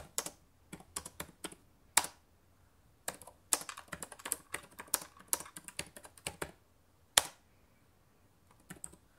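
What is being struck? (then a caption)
Plastic laptop keyboard keys. Fingertips with long painted nails type rapidly on the plastic chiclet keys of a black laptop resting on a table. Quick bursts of sharp, bright plastic clicks stop dead, separated by brief pauses and a few louder isolated taps.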